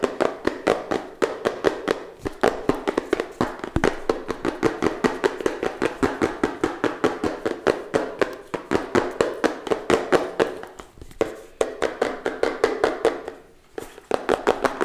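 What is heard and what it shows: A small, hollow pink and purple Redmi Note 7 Pro retail box made of rigid cardboard, likely closed, is tapped quickly with fingertips and long nails. About 68 short, dry, hollow taps centered around 420 Hz come in a steady rapid stream, with brief pauses near 11 and 13.5 seconds.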